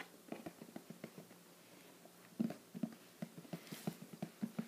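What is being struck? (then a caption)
Printed cardboard box. Fingertips tap the lid of a closed, hollow, shoebox-sized teal printed cardboard "Treats" subscription box held in one hand. The soft, quiet taps come in an irregular patter, each a short, dull, hollow knock with a low body and almost no ring, over a faint background hiss.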